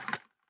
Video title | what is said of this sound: The Snow and the Sun: Story Time Poetry Month | that's what it sounds like just a piece of styrofoam